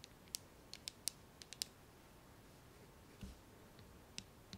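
Fingernails tap and scratch the hollow plastic body and handle of a blue plastic hairbrush. Ten quiet, sharp, bright clicks come at an uneven pace, clustered early and then spaced out, with a brief duller scrape partway through. Each click dies away almost instantly.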